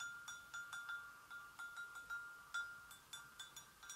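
An empty, hollow white porcelain gravy boat is tapped gently with long nails on its inner rim and sides. It gives a quick series of light, bright clinks, each ringing at a clear tone near 1.4 kHz and fading within about a third of a second.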